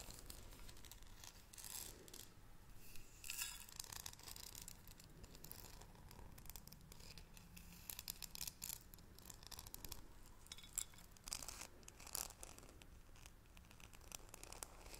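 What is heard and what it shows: A small, hollow, green cylindrical metal tea canister with a gold lid is held in both hands and tapped and scratched with long acrylic nails close to the microphone. Quiet, bright scratching and rustling runs throughout, broken by many short, sharp clicking taps that die away almost instantly. A faint low hum sits underneath.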